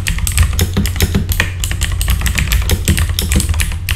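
Fingertips type fast and densely on a full-size RGB backlit mechanical keyboard with plastic keycaps. A continuous stream of short, bright plastic clicks and clacks runs over a steady low drone.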